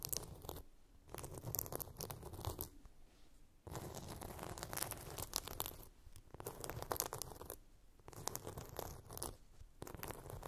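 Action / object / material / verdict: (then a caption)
scrape / glitter-coated plastic phone case / glitter plastic / none. Long pink nails scratch and grip a hand-sized, flat blue phone case coated in chunky glitter. Bursts of dense, gritty scratching and crackling with a bright, crisp edge are separated by brief quiet pauses, with a soft low rumble of handling underneath.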